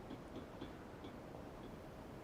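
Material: Nothing is struck.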